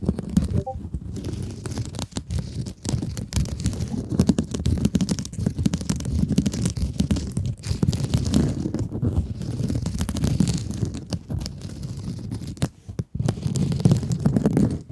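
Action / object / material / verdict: scrape / mesh-covered scrub sponge / plastic mesh / none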